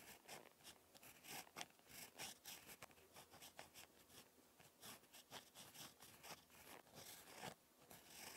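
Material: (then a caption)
Paper. A ballpoint pen tip scratches across a lined spiral notebook page while handwriting. The result is quiet, bright, dry scratching in short strokes and ticks with no low rumble.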